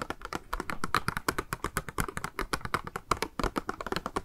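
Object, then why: Small clear plastic cube box. Long nails tap rapidly on a small, hollow, clear pink plastic cube box holding a pink makeup sponge as it is turned in the hands. The result is a quick, uneven stream of light, dry clicks with a hollow plastic tone around 1.2 kHz, each dying away almost instantly.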